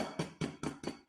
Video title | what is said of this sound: Wicketz Workshop - Make your own takeaway style chicken | until I can see a little bit of a hole there. The sound's changed, but it's not broken.